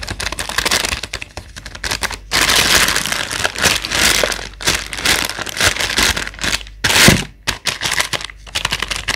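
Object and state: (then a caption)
Apples in a plastic bag, full. Long acrylic nails on a gloved hand tap quickly on a full clear plastic bag of about 1.5 kg of solid Elstar apples and on its paper label, making dense, bright crinkling clicks. The taps come in rapid bursts with brief pauses and stay mostly high-pitched, with little low end.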